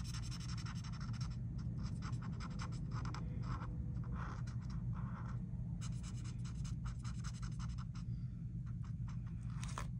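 A felt-tip marker makes repeated short scratching strokes on a flat paper coloring book page resting on a table, working near the edge of a mandala while the other hand rests on the page. Quick bursts of dry, bright scratching come and go over a steady low hum. The strokes run in close succession throughout without clear separate hits.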